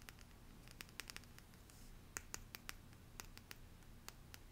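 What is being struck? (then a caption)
Stack of printed cardstock cards scratched with fingernails. Long painted nails scratch and tap the surface of a small deck of printed cardstock cards with a green leaf design. Quiet, sharp, bright clicks and scratches come in an uneven run over a low, steady rumble, each dying away almost instantly.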